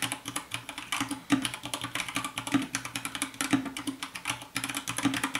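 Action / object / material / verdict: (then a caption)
tap / plastic mechanical keyboard / plastic / none. Fast fingertip typing with both hands on a compact 60% white plastic mechanical keyboard with a hollow case produces a rapid, dense stream of short, bright clacks with almost no ring. A faint, steady low tone beneath the typing may be quiet lofi music.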